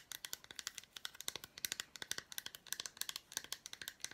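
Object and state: Milk chocolate bar tapped with fingernails.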